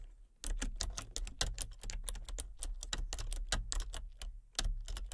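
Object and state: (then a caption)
Plastic computer keyboard being typed on. Long painted fingernails tap and type on the keys of a full-size, hollow plastic computer keyboard with color-changing backlit keys. A steady stream of crisp, bright clicks runs over a low hum, with brief pauses between bursts of typing.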